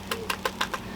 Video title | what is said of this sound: Ninja Dual Zone Air Fryer Whole Chicken | you can hear how crispy it is already